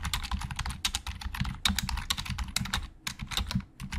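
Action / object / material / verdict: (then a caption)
tap / plastic computer keyboard / plastic / none. A hollow black plastic Logitech computer keyboard is typed on quickly with the fingertips of both hands. A dense run of sharp, short clicks has a bright edge around 3.7 kHz over a low, hollow thud from the keys, and each click dies away almost instantly.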